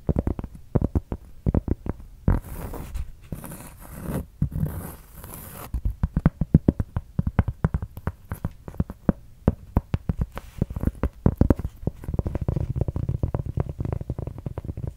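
Long red nails scratch across the surface of a large, solid, thin round cork board held close to the mic. The result is a dense run of rapid, dry scratching clicks, heavy in the low end. Between about 2 and 6 seconds, softer airy swipes with a bright hiss come through.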